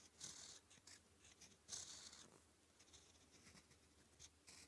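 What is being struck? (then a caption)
Metal fountain pen nib scratching on thin grid paper. A gold-toned fountain pen nib, held in the fingertips, scratches purple-ink letters onto a thin sheet of red-grid manuscript paper lying flat. Quiet, bright, papery scratching comes in irregular strokes, with two longer, louder strokes near the start and middle and shorter, softer ones between.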